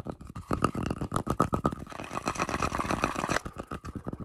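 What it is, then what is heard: Wooden log slice scratched with fingernails. Fingertips and short nails quickly scratch and rub the cut surface of a round, solid, flat wooden tree-trunk slice with a bark edge, held up close, working especially on its darker, rough, textured centre. The result is a rapid, irregular run of dry, raspy scratching strokes with short, crisp bursts and a faint recurring tone near 1.25 kHz.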